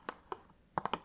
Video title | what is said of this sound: Teaching You How to Do ASMR (ASMR RolePlay) | something that sounds great you can tap on it with your nails